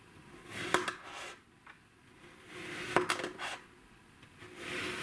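A black kitchen knife slices repeatedly through a solid, hand-sized flat round disc of blue kinetic sand with a dotted pattern pressed into its top, resting on a white surface. Each of three slow cuts brings a soft, gritty, bright crunching rustle that ends in a sharp, short click as the blade meets the table underneath.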